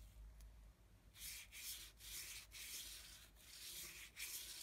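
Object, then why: Brush bristles on thick paper sheet. A small flat brush with a yellow handle is scrubbed and rubbed against the painted lower area of a flat, thick sheet of heavy painting paper. After about a second of quiet low hum, bright, dry, scratchy scrubbing strokes come in short bursts separated by brief pauses.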